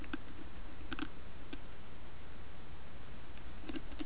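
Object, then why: Carved wooden lidded bowl. Long nails tap and scratch the carved side of a round, hollow, carved wooden lidded bowl held in the hands. Soft, sparse clicky taps with a hollow mid-low body and bright ticking edges sit over a steady low background hum.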